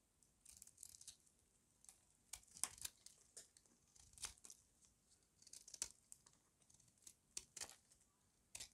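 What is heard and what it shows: A hand-sized, solid pink rectangular bar of dry soap, held in one hand, is shaved with a metal utility-knife blade that cuts off thin curls. The result is a series of quiet, crisp, bright scraping strokes with dry crinkling and tearing textures, each stopping sharply against near silence.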